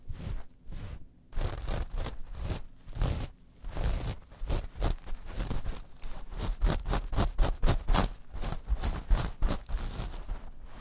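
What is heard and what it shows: Long nails on both hands scratch a small metal mesh clutch pouch lying on a fur rug. Quick, uneven strokes make a rapid series of crisp, bright scratchy rasps over a soft low thump, with short pauses between bursts.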